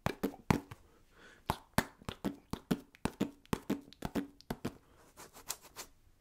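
A small orange basketball-patterned foam mini stress ball, possibly solid polyurethane, is held in one hand while the fingertips and nails of the other hand tap and scratch it. About two dozen soft, dry, muffled taps sound in an uneven rhythm, each a short low thud around 170 Hz that dies away almost instantly, with faint scratchy brushing between some taps.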